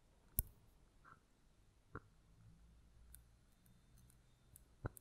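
A hollow red mosaic-glass votive candle holder, held by its rim and bottom, is tapped with long nails. Sparse, sharp little clicks and taps stand out against a quiet, low background hum, each dying away almost instantly, with a few fainter bright ticks in between.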